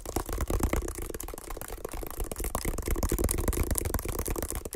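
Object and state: Woven water hyacinth basket.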